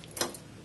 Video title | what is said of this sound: Upgrading to taper roller wheel bearings on front axle of the 1275 MG Midget | should hear a little knock that's touching the back